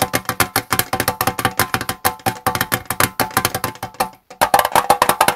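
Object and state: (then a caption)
Metal tea tin. Fingertips and nails tap quickly and steadily on the gold lid of a small, square, hollow Twinings metal tea tin, possibly holding tea. Dozens of crisp, short clicks carry a light metallic ring pitched near 800 Hz and fade almost instantly. The tapping stops briefly just after the four-second mark, then resumes slightly brighter and louder.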